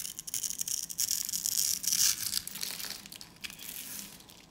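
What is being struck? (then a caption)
Bar of soap cut with a metal blade. A metal utility blade slices into the pre-scored grid on the end of a solid, hand-sized green soap bar held in both hands, cutting it into crumbly cubes. It makes a rapid, uneven run of bright, dry crunching and scraping, almost all high-pitched with very little low end. The crunches swell in the middle and then thin out toward the end.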